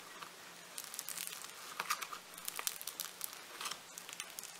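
A hand-sized solid lump of pink floam foam-bead clay is squeezed and pinched between fingertips and thumbs. It gives off a dense, bright, crinkly crackle of quick popping bursts that swell and fade, with a faint steady low hum underneath.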